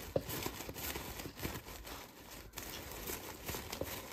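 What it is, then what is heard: Plastic cup with artificial flowers. Fingertips and nails tap and scratch the outer side of a small yellow plastic cup holding artificial flowers. Soft, continuous scratching is broken by a few short, sharp taps with a light plastic click.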